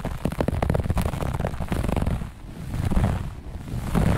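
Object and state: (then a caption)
Textile carpet being scratched. Long nails on both hands scratch fast and hard across a grey-beige looped pile carpet. The result is a dense, rough, low rumbling rasp of quick scraping bursts that dips briefly in the middle before building again.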